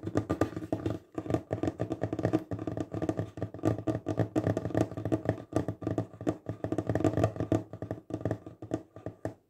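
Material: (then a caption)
Wood. The fingertips of both hands tap fast on a solid wooden table top. They make a dense run of short, dull, low knocks with almost no ring and little brightness, broken by brief pauses near the start and end.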